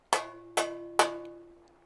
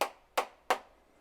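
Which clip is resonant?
The first.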